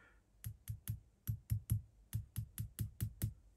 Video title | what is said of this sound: Dismantling my RevoSlot Porsche 911 GT2 and an interesting idea for assembly | if i hold it by the back corner that's not moving much